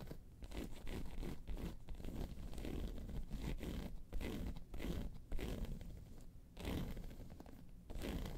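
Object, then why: Hard-shell faux leather handbag. Long pointed silver nails on both hands scratch and tap the top of a round, hollow, hard-shell tan handbag with a crocodile-embossed faux leather surface, resting on a fur rug. The sound is dense, continuous rasping and scraping in uneven bursts, heavy in low-end rumble with very little high brightness, broken by short pauses and soft dull taps.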